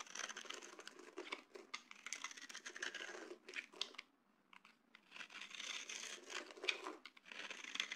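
A small blade cutter scrapes and carves shavings and grooves from a solid, palm-sized oval yellow bar of dry soap held in one hand over a bed of soap flakes. The result is a dense run of dry, crinkly, bright scraping and crunching strokes with quick, sharp onsets. A brief near-silent pause comes around the middle.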